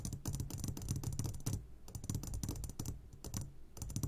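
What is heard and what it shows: Fingertips tap rapidly on the sides of an upside-down clear glass jar full of hard candies. The result is a quick, uneven run of light clicky taps with a low thump under each and a bright top, briefly pausing around the middle before resuming.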